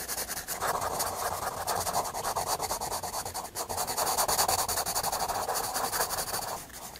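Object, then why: Graphite pencil on a paper sketchbook page. A graphite pencil draws and shades a face on the flat white paper page of a spiral sketchbook. It makes a steady, dense run of dry scratching strokes with a papery midrange rasp around 850 Hz and a bright hiss. The strokes continue for about seven seconds and ease off slightly near the end.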